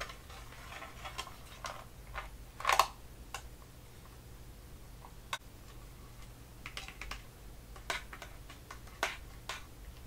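Fingertips and nails tap and handle the lid of a small, flat, closed blue printed metal tin of crayons held in both hands over white paper. Light, sharp ticking clicks come at irregular intervals with very short ring, with one louder, brighter tap near the three-second mark. A faint steady low hum runs underneath.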